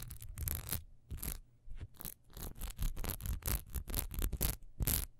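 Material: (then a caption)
Wax. A single solid cream wax pillar candle with a raised diamond texture, first standing and then gripped in both hands, is scratched fast along its textured sides with long nails. Quick, irregular bursts of dry, bright scratching come with a soft low rumble beneath, each burst stopping short with almost no ring.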